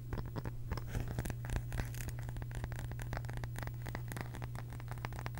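A small, round, flat wooden (bamboo-like) case or lid, apparently solid, is held in both hands close to the mic and tapped and scratched with long pink acrylic nails. Rapid, crisp clicks and scratchy scrapes run continuously over a steady low hum.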